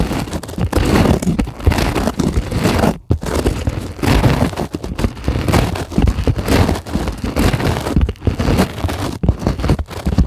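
Long acrylic nails scratch across the surface of a white polyethylene packing foam sheet resting on a table. The result is a dense, continuous rustling and crinkling scrape, weighted heavily toward low frequencies, with frequent short drops in level, including a brief near-silent pause around three seconds.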